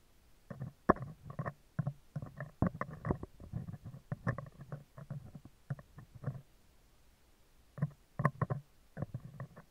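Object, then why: Steel wire-mesh microphone grille. Metal tweezers scratch and tap the left side of a round, hollow steel wire-mesh microphone grille. The result is a close, dry run of scraping and clicking bursts, heavy in the low end with almost no high brightness, pausing briefly before the tapping resumes.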